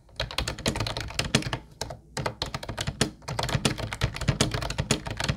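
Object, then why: Plastic keyboard with round keycaps. Both hands type with fingertips on a mint-blue plastic Ubotie retro keyboard with round white keycaps. The result is a quick, steady run of short, clacky taps with a low thunky body and bright clicks, broken by a brief pause near the two-second mark.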